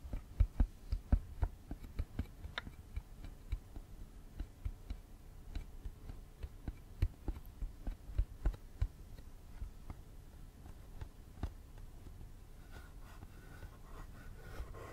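A small, hollow, clear plastic cassette case with a red insert is held close and tapped and scratched with fingernails. Short, dry, hollow taps ring out irregularly over low, soft scratching. The tapping is densest at the start and fades to quieter scratching toward the end.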